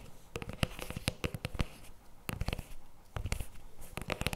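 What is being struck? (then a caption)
Paperboard tub with plastic lid. Fingertips and nails tap and scratch the plastic lid and rim of a CremaNovi paperboard chocolate spread tub on a table. The result is a quick, irregular series of short, dry taps, each a dull low thump topped with a bright click that stops instantly. Soft scratchy rustling fills the gaps between them.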